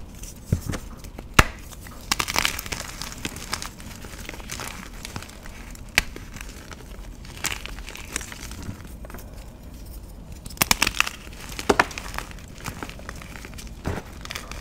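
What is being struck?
Magnesium carbonate gym chalk block.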